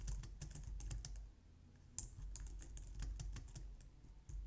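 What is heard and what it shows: Long painted nails and fingertips type on a low-profile white/light-grey plastic wireless keyboard resting on a glitter mat on a wooden desk. Quick, bright, irregular clicking taps come in bursts over a steady low hum, with a brief quieter lull before the typing resumes.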